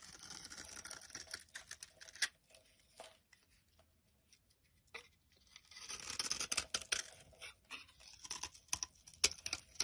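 A metal knife blade carves thin curled shavings from the top of a solid green olive soap bar held in the hand. Quiet, bright, crisp scraping and crackling come in bursts, with a near-silent pause in the middle before denser carving resumes.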